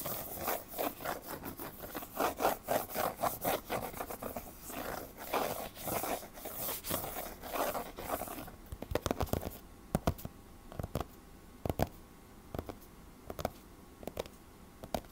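Short fingernails scratch and rub back and forth across the glossy laminated cardboard cover of a closed hardcover picture book lying flat on a table. For about eight seconds the strokes come as a quick, steady rhythm of raspy, papery swishes. Then they thin out into sparse, sharp scratches and clicks over a quiet background.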